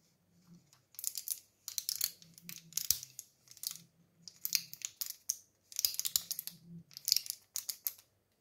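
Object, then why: Plastic and foil blister pack. A small flat blister pack of Impulse mints, with a clear plastic blister filled with white candies and a printed foil backing, is held in both hands while the fingertips and thumbs press and rub the foil side, with its cardboard sleeve lying on the surface nearby. Bursts of bright, dry crinkling and sharp little pops come in quick clusters separated by brief pauses, with almost nothing in the low end and no lingering ring.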